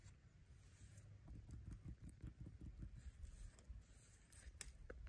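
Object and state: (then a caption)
Dead wooden branch, solid. A fingertip taps and traces the engraved borer grooves on a weathered, solid dead wooden tree branch resting on leaf litter. It makes a quiet, irregular patter of soft, dull, low thuds and light scratchy rubs, with a faint high, steady tone underneath.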